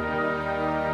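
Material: Nothing is struck.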